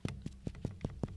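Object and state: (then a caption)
Hollow-sounding chest over air-filled lung. A finger taps repeatedly on the upper part of a human chest in a steady series of short, dull, low thuds, each fading almost at once. The percussion sounds hollow, which indicates air-filled lung there, though this is a demonstration rather than a confirmed test.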